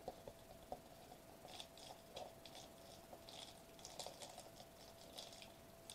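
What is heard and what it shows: A foil-laminated plastic bubble wrap sheet is held upright while fingertips tap and scratch it, then hands squeeze and crinkle it. The result is soft, quiet clicks and short, bright, crackly crinkles with little low end, over a faint steady tone.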